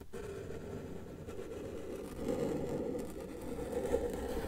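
A felt-tip marker tip is drawn across a flat white paper sheet on a table while sketching a cat outline. It makes a continuous, soft scratching rub, mostly in the low-mids with little brightness, swelling louder around the middle and again near the end as the strokes press on.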